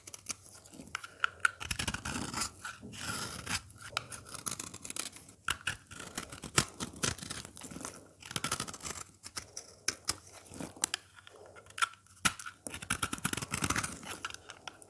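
A craft blade scrapes and cuts crumbly curls from the face of a solid, dry green oval soap bar held in the hand. Dense, crisp crunching and scraping strokes come in quick bursts with bright, dry texture and a faint steady tone near 1.4 kHz. Short pauses separate the runs of shaving.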